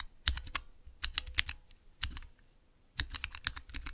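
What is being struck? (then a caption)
Plastic mechanical keyboard switch tester. Long-nailed fingertips rapidly press and tap the clear plastic keycaps of a small 3x3 Cherry MX switch tester with a clear plastic base resting on dark velvet. Sharp, bright plastic clicks and clacks come in quick clusters separated by brief pauses, each stroke ending almost instantly with a soft low thump beneath.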